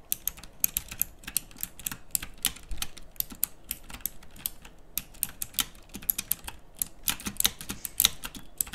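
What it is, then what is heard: Mechanical keyboard with round plastic keycaps. A plastic mechanical typewriter-style keyboard with round plastic keycaps and backlighting is typed on continuously by fingers with long nails. The result is a steady stream of sharp, bright clicks with very short decay, some louder key strikes standing out over a soft, low clatter.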